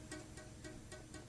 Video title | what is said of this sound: Guitar Setup 1 Setting Neck Relief | if you tap it you can hear that it's not sitting right on the Fret